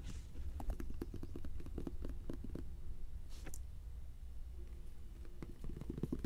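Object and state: Lotion bottle tapping.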